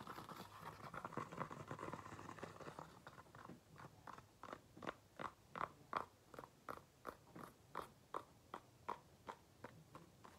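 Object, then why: Faux leather flat shoe. Fingernails tap on the outside of the upper of a single empty black faux leather flat shoe with a beige insole. A dense flurry of quick, scratchy taps for the first few seconds settles into a steady run of separate, short, dry clicks centered around 1 kHz, each fading almost instantly.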